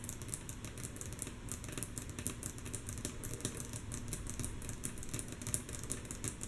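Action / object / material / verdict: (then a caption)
tap / wooden table tapped with fingernails / wood / none. Long natural fingernails tap rhythmically and mostly softly on a wooden table. A quick, steady patter of dry clicks with bright, high ticks over a soft, low thud, each one dying away almost at once.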